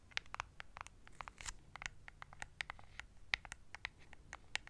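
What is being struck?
Plastic remote control.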